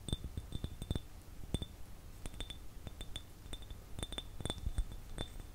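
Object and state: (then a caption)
Glass jar. An empty, hollow, clear glass jar is tapped with fingernails and fingertips, giving many quick, irregular taps. Each tap makes a short, dull knock with a bright glassy click on top. The taps die away almost at once over a quiet background.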